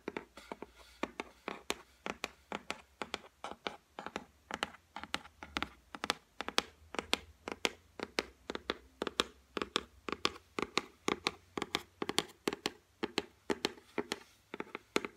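Long white nails tap rapidly and steadily on the flat, solid top of a white laminated shelf. Each tap is a short, dry click with a mid-pitched body and a bright edge, dying away almost at once, and they come in quick, uneven clusters throughout.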